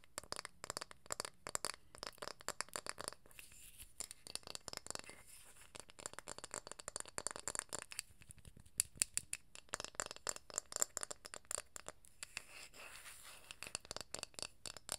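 Long nails tap and scratch across a round, light wooden jar lid, working over both the printed label on one side and the bare wooden faces. Quiet, dense clusters of dry, bright clicks and crackly scrapes sound throughout, each tap dying away almost instantly, with brief lulls between bursts.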